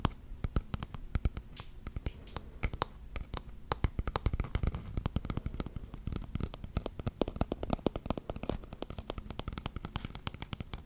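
Fingernails tap and scratch the wooden sides of a small wooden box held upright close to the mic. The result is a dense, fast stream of dry, crisp clicks and raspy scratches with a soft, low thumpy body and no ring after each hit.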